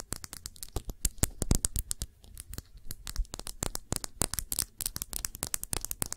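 Long nails rapidly tap and scratch a round glass perfume bottle with a blue cap, partly filled with liquid. The result is a dense stream of short, bright clicks and scraping sounds with a low thud underneath, each dying away almost at once.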